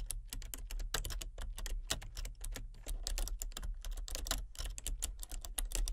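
Fingertips type rapidly on a full-size plastic computer keyboard with a colour-changing backlight. Dense, crisp key clicks with bright, short-lived taps sit over a steady low hum.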